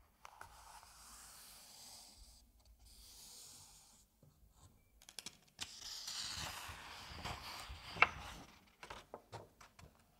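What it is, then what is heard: Paper comic book pages. Fingertips rub the edge of a page in an open Asterix comic album and flip the paper page over. The result is a soft, bright, rustling rub with small crisp ticks, then a sharp paper snap as the page turns and a few light taps.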